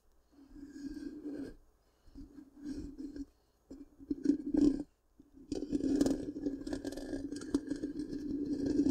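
Long pink-painted nails scratch the hollow black round metal mesh grille of a large microphone. The result is a raspy, crackling scrape with a hollow, humming resonance around 270 Hz and faint bright hiss. It comes in four bursts, and the last one runs on steadily to the end.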